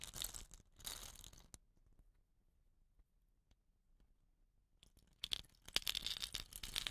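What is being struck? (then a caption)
Bamboo rain stick with woven rattan caps. Fingers rub and scratch the woven rattan cap on the end of a hollow, painted bamboo rain stick and tilt the stick. Bright, dry scratching and crinkling bursts open the clip, then fade to near silence with faint scattered ticks. Louder crackling scratches and sharp clicks return toward the end.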